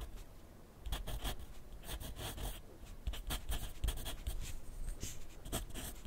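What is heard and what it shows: A wooden graphite pencil writes continuously on a sheet of lined paper clipped to a flat clipboard on a wooden desk, its tip scratching across the paper. Quick bright scratchy strokes come one after another over a soft low rumble, with occasional duller low taps.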